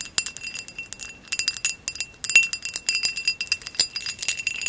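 Long acrylic nails tap rapidly on top of a hollow amber glass vase with a woven relief pattern, lying on blue fur. Each tap gives a bright, thin glassy click with a faint ringing tone around 2.7 kHz that dies away almost at once, with no low end.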